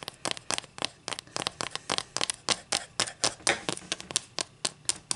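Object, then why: Wooden ruler and acrylic fingernails. Long green acrylic nails scratch and rub the surface and edge of a solid flat wooden ruler held in the air, which is turned over at the end. About 23 short, bright, dry scraping strokes come in a quick, uneven rhythm, each fading almost at once with little low end.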